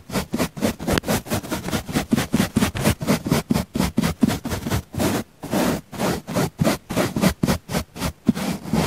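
A natural-bristle paint brush brushes against the side of a round, solid, soft pink foam sponge in quick, steady strokes. About twenty separate soft, scratchy swishes follow one another, mostly low and muffled with a faint airy hiss, and each cuts off sharply with no ring.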